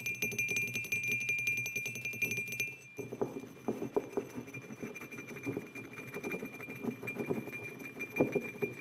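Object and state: Ceramic mug tapped and scratched.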